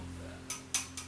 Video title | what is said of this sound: Influencia de la Selleta en el Sonido | tú le das un golpecito y suena a piedra, no suena a plástico